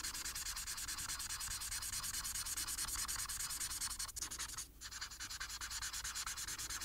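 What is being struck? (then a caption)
Felt-tip marker on thin paper. A felt-tip plastic marker, held horizontally in the fingers, rubs back and forth across a thin printed paper coloring sheet lying flat. It makes a steady, rapid, bright scratchy rubbing with a rhythmic stroke pattern. The strokes break briefly just after the four-second mark, then the scratching resumes at the same pace.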